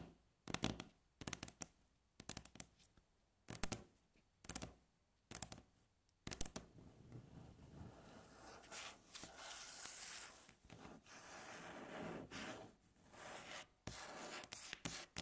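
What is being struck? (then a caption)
Wooden tabletop. Long natural nails tap and scratch with both hands on a solid, light wooden tabletop. Short, sharp bursts of tapping come first, then a steady, continuous scratching texture fills the rest of the clip, broken by a few brief pauses.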